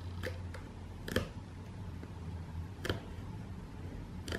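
Long painted fingernails tap the side panel of a closed, hollow, medium corrugated cardboard shipping box, rapidly striking it. Five short, dry ticking taps stand out over a steady low hum, each dying away almost at once.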